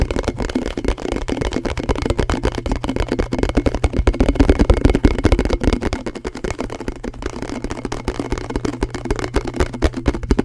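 A thin, hollow, round blue plastic canister lid is held close to the mic and tapped and scratched fast with fingertips and nails. The result is a dense, rapid stream of dull, low, hollow knocks and scratchy rustles over a steady low hum, swelling loudest around the middle before easing slightly toward the end.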